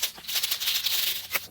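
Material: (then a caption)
Metal. A paint marker pen is shaken before use, and the metal mixing ball rattles inside it in a fast, bright, steady clatter with a final sharper burst near the end. The rattle means the paint is mixing, as it should.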